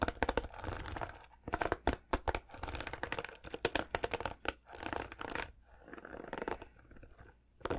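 Fingertips and nails scratch and strum the plastic bristles of a white plastic paddle hairbrush. Quick bursts of sharp, bright, crackly clicks and rasps alternate with softer stretches of dry scraping.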